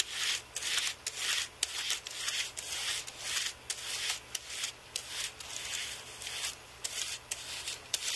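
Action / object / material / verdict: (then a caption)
scrape / aluminium and plastic computer keyboard / plastic, aluminium / none. A carbon-fibre brush is swept back and forth across the plastic keys of a white Apple keyboard with an aluminium body. The result is a steady run of dry, airy, high-pitched rubbing strokes with brief quiet gaps between them, and there is no low-end thump.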